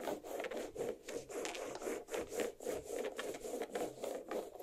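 Long black nails of both hands scratch the rind of a large, solid watermelon half resting on a plate. About eleven quick, rasping strokes follow in a steady rhythm, with a mid-pitched scraping tone and a bright hiss on each pass.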